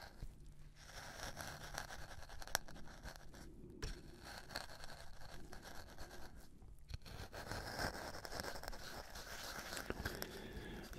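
A black-gloved hand grinds and scrapes a metal-tipped wooden pestle inside a wooden mortar partly filled with dark dry material. The result is a steady, gritty scraping and crunching, with rough bright texture over a low rumble and a few sharper clicks along the way.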